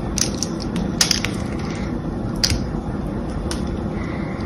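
A hand-sized, solid cream bar of soap with a mostly smooth face is scraped and carved with a small metal blade held in the other hand. A steady low, grainy rasp runs throughout, broken by a few sharp, bright crackling flicks as shavings break away.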